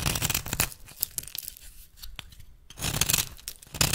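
A metal blade held in the fingertips shaves and cuts flakes off the edge of a solid rectangular bar of rancid yellow soap held in one hand, over a pile of soap shavings. Dense, bright scraping and tearing crackles come loudest at the start and end, with a quieter stretch of softer, sparser scrapes in the middle.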